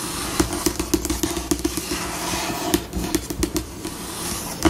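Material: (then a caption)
Laminate. Long pink acrylic nails scratch and rub across a flat, solid, white glossy laminate tabletop at a changing pace. A steady, dry scratching hiss runs throughout, broken by short, sharp nail clicks that end almost instantly. The rubbing has a faint low hum beneath it and a bright scratchy top.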